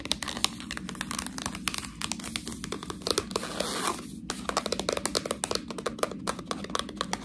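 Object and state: Plastic package of fresh tortellini.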